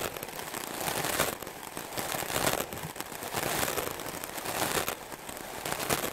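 A white melamine foam block held in the hand is scrubbed fast and hard with a wooden-backed, stiff-bristle clothes brush. The result is a dense, crackling, scratchy rasp with bright hiss, coming in repeated strokes that swell and ease without clear gaps.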